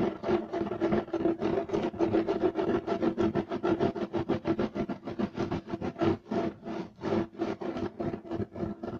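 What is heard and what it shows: Fingernails scratch fast and hard across a beige striped woven fiber carpet, making a rapid, uneven run of short, dry rasping strokes with a steady midrange tone around 360 Hz. The scratching ends with the hands resting flat on the carpet.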